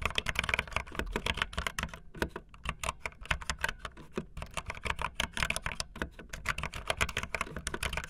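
Fingertips with long nails type fast on a backlit optical linear mechanical keyboard with white and blue plastic keycaps. The result is a rapid, dense stream of short, bright plastic clicks and clacks with a soft low thump underneath, with a brief slower stretch around the middle.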